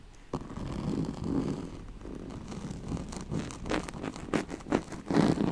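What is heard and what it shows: Long nails scratch the ribs and corded rim of a yellow striped, woven oval pad made of straw-like fabric. The result is a steady, dry rasping texture with a low-to-mid body, broken by sharper, brighter scrapes that grow louder and choppier toward the end.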